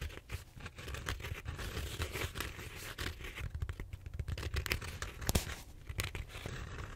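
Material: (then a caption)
Styrofoam. Fingertips and nails scrape and scratch the surface of a large purple styrofoam bead-foam roller held diagonally. The result is a dense, crunchy, tearing crackle with a low rumbling body and brighter scratchy bursts throughout.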